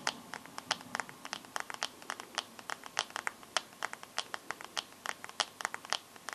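Fingernails tap and scratch the black glass screen of a bare smartphone with a metal frame and no case. Some three dozen short, bright clicks come in an irregular, quick rhythm. Each click is crisp and dies almost instantly, with faint scratching and no low rumble.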